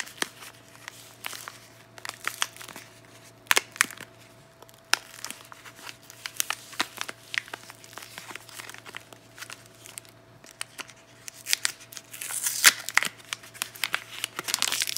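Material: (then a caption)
Paper. A bar of Divny Sad soap in a white printed paper wrapper is crinkled, folded and scratched by long nails and fingertips. Dry, bright paper crackles and sharp scratching clicks come in irregular bursts over a faint steady hum, and the crinkling grows denser and louder toward the end.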